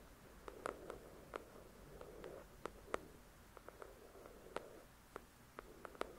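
Long acrylic nails tap and scratch the glossy card cover of a thick paperback novel. Quick, light clicks with almost no ring sound over a soft, rustling scratch.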